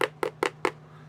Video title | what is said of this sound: Boxshredding my illicitly early AOTP Deluxes bwahaha - April 14 2025 | This whole thing feels really just cheap and hollow. It's like it's got just a ton of empty space inside of it.